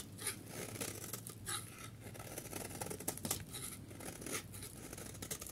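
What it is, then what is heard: Dry soap bar being scraped. A snap-off utility knife blade scrapes and scores a solid, dry yellow soap bar, producing crisp, dry scratching and crumbly rasps with bright, hissy top edges. Short, sharper bursts of cutting stand out over a steady low hum.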